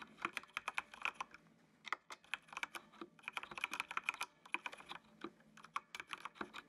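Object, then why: Plastic mechanical computer keyboard. Fingertips type on a full-size black plastic mechanical computer keyboard with an RGB backlight. It makes a quick run of short, bright, clacky keystrokes with no low-end thump, broken by brief pauses partway through.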